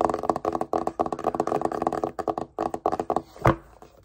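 A small, rigid, hollow black cardboard Apple product box, held in both hands, is tapped quickly with the fingertips and short nails. Rapid bursts of dry, hollow mid-range knocks come in clusters with very short decay, ending with one sharper, louder tap.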